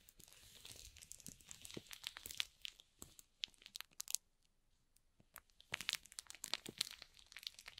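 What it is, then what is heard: Shrink-wrapped cardboard box. Flat fingers rub and stroke the plastic shrink-wrap film on top of a small, hollow cardboard box. The result is bright, crisp crinkling with sharp crackles, broken by a near-silent pause in the middle before the rubbing resumes.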